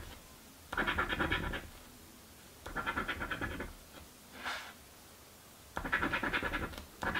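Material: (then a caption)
Paper. A coin scratches the grid squares of a paper crossword scratch lottery ticket in repeated bursts of rapid, gritty rasping, with quiet pauses between them. Four longer scratching passes and one short, softer stroke are heard, their dry, bright scraping centred in the upper mids.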